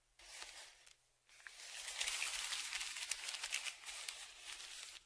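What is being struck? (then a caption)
Kraft paper padded shipping envelope. A dark flat tongue depressor scrapes across the crinkled surface of a large brown kraft paper Amazon padded mailer lying flat and held down by one hand. A short burst of bright, scratchy crinkling is followed by a brief pause, then a longer stretch of continuous, rustling scraping with sharp papery crackles until the end.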